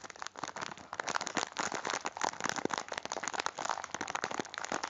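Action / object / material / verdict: scrape / biscuit packet in plastic wrap / plastic film / none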